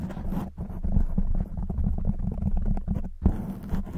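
Long white nails on both hands vigorously scratch a black foam windscreen on a silver microphone. The result is a dense, muffled, low rumbling scrape with almost no high end, briefly dipping around half a second and again just after three seconds before resuming.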